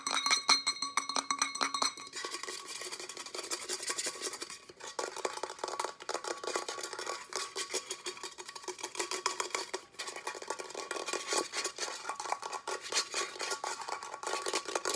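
A tall, hollow, empty-looking pink matte Starbucks tumbler with a hard coated wall is tapped and scratched very fast and aggressively with short nails and fingertips. Dense, rapid clicks and scraping rustles fill the clip with bright, high texture and no low end. A faint tonal ring sounds in the first two seconds.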